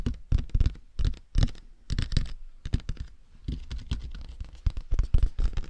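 Fingertips tap and scratch across the top and front of a large, hollow, matte black plastic dummy head microphone with silicone ears. Clusters of short, dull knocks and rough scratching come in bursts with brief pauses, heavy in low thumping body, and each knock dies away almost instantly.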